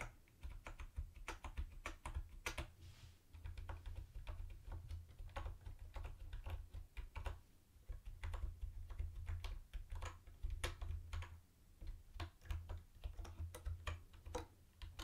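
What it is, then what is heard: Plastic keyboard being typed on. Fingertips with short nails type on a mint-green plastic retro keyboard with round white plastic typewriter-style keycaps and a hollow case. Quick, sharp, bright clicks come in steady bursts with brief pauses, each dying away almost at once. A low, steady hum sits underneath the whole time.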